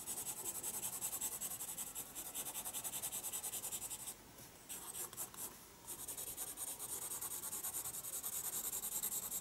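A pencil scratches and rubs dense hatching onto the paper page of a spiral sketchbook. Quick, bright, hissy strokes repeat in a steady back-and-forth rhythm, thin out briefly in the middle, then resume at a soft, even level.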